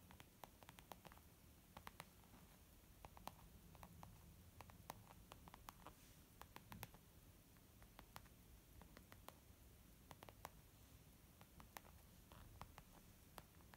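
Fingers tap on a leather makeup bag in a quiet, steady stream of soft, dry clicks. Each short tap fades almost instantly over a low, muffled background hum.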